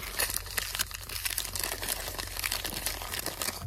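A small, dark plastic Snickers candy bar wrapper is held close in both hands while fingertips squeeze and crumple it. It makes a steady run of bright, crisp crinkles and crackles with short, sharp snaps that die away almost instantly, over a faint low hum.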